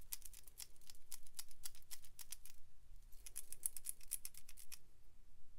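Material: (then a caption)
Plastic. Long pink acrylic nails tap and scratch a small, hollow, clear and pink plastic capsule ball held in the hands, with pink glitter inside and a toy figure attached. Quick, bright, dry clicks come in two rapid bursts separated by a brief pause, each tap short with almost no ring.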